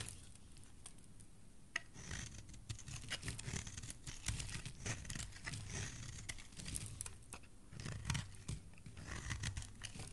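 A utility knife blade scrapes and shaves a solid white oval bar of soap, peeling off thin white curls. The result is a steady run of soft, crinkly scraping and shaving strokes with bright, papery edges over a low, muffled body.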